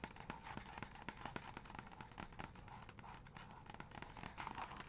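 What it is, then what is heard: Glossy paper book page. Long nails tap and trace over the printed photos on both glossy paper pages of an open photography book. Quiet, crisp clicking taps come in quick succession over a soft, papery scratching rustle, each tap dying away almost instantly.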